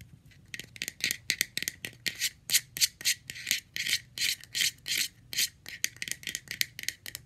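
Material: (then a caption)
Plastic. A round, hollow, light blue plastic screw lid, off its jar, has its ridged side scratched and tapped with long red-painted nails. The result is a fast, uneven run of bright, hissy scratching bursts mixed with short dry clicks, all high-pitched with almost no low end.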